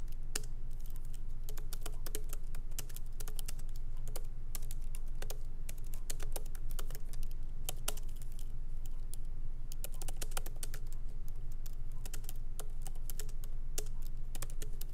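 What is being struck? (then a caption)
Laptop keyboard, plastic keys in a metal body. Both hands type lightly with their fingertips on the plastic keycaps of a MacBook Pro laptop with an aluminum body, resting on a wooden desk. Short, sharp, bright key taps come at an uneven pace, about two or three per second, over a steady low hum. The clicks die away almost instantly.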